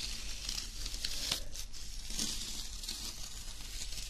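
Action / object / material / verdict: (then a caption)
scrape / embossed metallic foil paper sheet / metal foil / none. Fingernails scratch and rub across a flat, thin sheet of embossed silver foil paper. It makes a steady, bright, crinkly rustle with sharp crackling scrapes over a faint low rumble.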